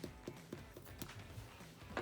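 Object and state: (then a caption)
Baked-through bread loaf (hollow sound). A swirled cheese bread loaf, baked at 350 degrees for 40 minutes, is tapped six times. Each tap gives a short, hollow knock with a low thud and no lasting ring, which shows the loaf is baked through and done.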